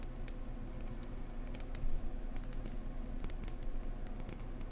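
Gentle tapping on a blue decorative egg produces soft, quick, dry clicks that barely ring, over a steady low hum. Faint bright ticks stand out above the low rumble, and the level stays quiet and even throughout.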